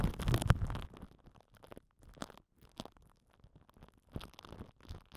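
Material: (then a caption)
Plastic film. A microphone head wrapped in crinkled purple plastic film is pressed and rubbed from below with the end of a plastic glue stick. A loud, dense burst of crackling and rustling comes first, then it thins into quieter, scattered crinkles and soft scratchy taps with brief silences between them.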